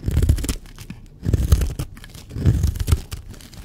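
A blade scrapes across a solid, dry teal bar of soap, shaving off curls. Three dull, crackly scraping passes are heard, with low, muffled energy and short, textured bursts separated by brief quieter gaps.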